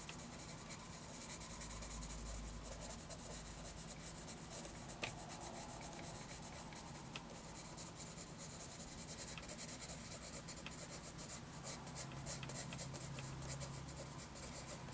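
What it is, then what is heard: Pencil scratching on paper. A wooden graphite pencil makes fast cross-hatching scratches and rubbing on a lined paper notebook page. Quiet, bright, papery scratching runs continuously over a faint low hum, growing busier with sharper strokes in the second half.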